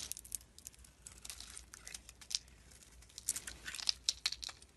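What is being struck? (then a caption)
Bar of soap cut with a knife blade. A utility knife blade shaves curls and flakes off a hand-sized solid soap bar with a glittery blue coating and a white interior. The blade makes quiet, dry, crackly scraping sounds that are mostly high and bright, with little low end. They come as a rapid run of short, crisp crunches with no ring after each.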